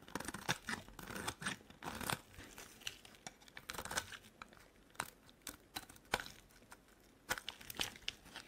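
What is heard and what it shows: A metal blade scrapes thin flakes off a solid, heavily carved purple bar of soap. The result is a quiet run of dry, bright, crinkly scraping and crunching bursts, irregularly spaced, each fading almost at once.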